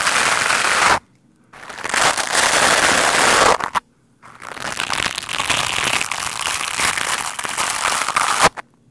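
A large black windscreen of soft, porous foam on a microphone is rubbed and brushed fast by a lime-green plastic scrub brush with stiff white plastic bristles. It makes dense, bright, crackling scratchy noise close to the mic in three long bursts, separated by short silences, ending with a final sharp scrape.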